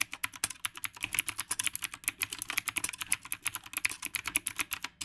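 Fingertips type continuously on the round plastic keycaps of a retro typewriter-style mechanical keyboard, producing about 36 quick, sharp keystrokes over five seconds. Each click is bright and crisp with almost no low end and dies away almost instantly, forming a steady, rapid clatter.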